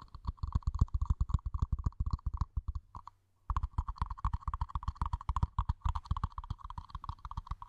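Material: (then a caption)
Plastic. A small, hollow, empty, matte black plastic mini planter pot is held in the hands and then placed over the mic while long nails and fingertips tap rapidly on its sides and rim. About 46 quick, uneven taps sound as deep, muffled, hollow thumps with a light clicky tick on top. The tapping pauses briefly around the three-second mark, then resumes at the same pace.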